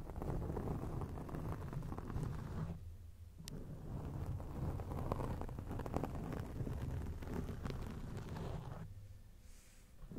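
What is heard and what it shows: Long acrylic nails scratch a round grey foam windscreen on a microphone, making a dense, muffled, low rumbling crackle. The scratching runs almost continuously, with brief quieter gaps around the third second and near the end.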